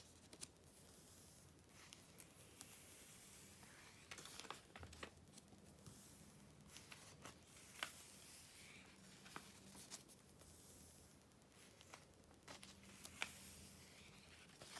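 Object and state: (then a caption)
Glossy paper magazine pages. Fingers with long nails turn and flutter the thin glossy pages of an open July 2013 issue of Vogue magazine and press them flat. Quiet, bright paper rustles and crinkles are broken by sharp ticks and soft snaps, over a faint low hum.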